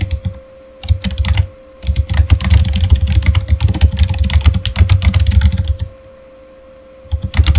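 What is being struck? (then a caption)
Plastic computer keyboard. Fingertips type rapidly on a solid, full-size, backlit plastic Razer Fire gaming keyboard, producing bursts of quick, deep, thumpy key clatter with short bright clicks. The longest stretch of typing runs through the middle of the clip, separated by brief pauses in which only a faint steady hum remains.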